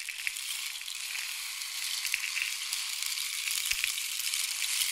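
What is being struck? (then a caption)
Wooden rain stick tube with pellets inside. A long, hollow painted wooden or bamboo rain stick with pellets inside is held in both hands, fingertips resting on the tube, and slowly tilted so the filling trickles through. It makes a steady, bright, hissing patter with almost no low end, like falling rain, with a few small clicks standing out. The sound grows slightly louder as it goes.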